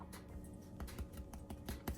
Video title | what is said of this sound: Make Good Yeast Bread | Sounds great. I like that hollow sound.